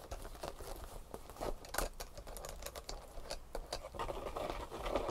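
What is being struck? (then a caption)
Leather handbag. Long painted nails tap and scratch the stitched front flap pocket and strap of a tan leather handbag lying flat. Quick, soft taps mix with dry scratching and crinkly rustles in a steady, busy patter.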